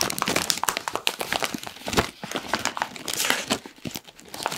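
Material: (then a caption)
Foil-lined plastic. A medium-size Kettle crisps bag of foil-lined plastic, puffed and apparently full, is squeezed and crinkled with the fingers of both hands. Dense, bright crackles and crinkles overlap continuously with very little low end, each snap dying away almost at once.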